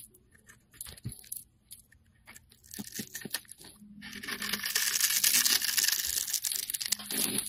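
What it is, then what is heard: Bar of soap being scraped. A metal blade scrapes the surface of a solid orange oval bar of soap held in the hand, shaving off fine curls. Sparse, dry scratches and clicks build into a steady, louder, bright scraping hiss through the second half.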